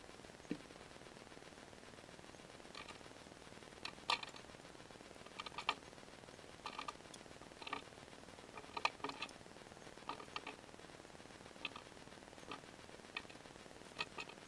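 A palm-sized, solid blue glitter-coated bar of soap is held in one hand while a metal box-cutter blade shaves and scrapes its surface off in curls. Short, crisp, bright scraping and cutting strokes come in scattered bursts over a faint, steady hiss. Each stroke stops almost instantly, with no ring.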